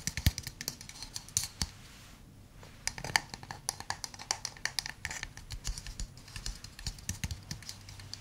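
A hand-sized hollow wooden cup is tapped rapidly with fingernails on its base and sides. The result is a stream of short, dry, bright clicks with a light knock underneath and almost no ring. The tapping pauses briefly around the two-second mark, then resumes steadily.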